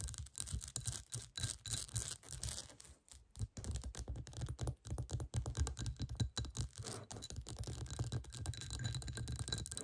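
Long nails quickly scratch and tap the bumpy surface of a clear, hollow, textured glass bowl turned upside down. The result is a dense stream of rapid, dry clicks and scratchy rasps with a bright hiss on top and a steady low hum underneath. Brief pauses break up the flurry.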